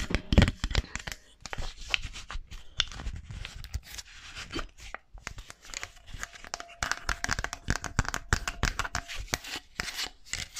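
Long nails scratch and tap the fingers and palm of a small, solid wooden articulated mannequin hand held close to the mic. The result is a dense stream of dry, crackly scratching and quick bright clicks over soft low thumps, with a loud burst of taps near the start.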